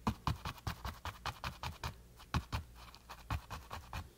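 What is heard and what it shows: A flat paintbrush with a metal ferrule is pressed and scrubbed against a flat, textured canvas panel coated in wet green paint. Quiet, uneven strokes follow one another in a loose rhythm, each a short, soft scratchy rasp with a low, dull body and faint bright bristle texture that stops almost at once.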